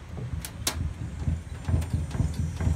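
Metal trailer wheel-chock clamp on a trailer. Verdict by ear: Tight.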